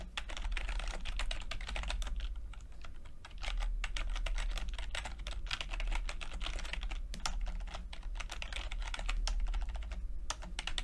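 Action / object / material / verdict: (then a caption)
tap / plastic chiclet computer keyboard / plastic / none. Fingertips tap the plastic keycaps of a backlit chiclet computer keyboard in steady, continuous typing. The result is a dense stream of short, bright clicks that die away almost instantly, over a constant low hum that dominates the sound.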